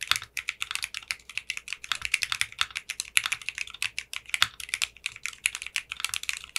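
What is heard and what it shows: Fingertips with short manicured nails type on a 60% mechanical keyboard with clear pink polycarbonate keycaps. A quick, steady run of crisp, bright keystrokes clacks out, concentrated in the upper mids around 2.7 kHz with almost no low end. Each click cuts off almost instantly.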